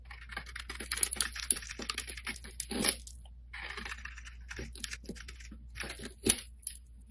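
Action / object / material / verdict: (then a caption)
scrape / bar of soap scraped with a metal blade / soap / none. A metal blade scrapes a solid, hand-sized, light-blue oval bar of soap, breaking off shavings and chunks. Dense, crisp, bright scraping and crackling is heard, with a brief lull near the middle and sharper cracks around 2.8 and 6.3 seconds. A steady low hum runs underneath throughout.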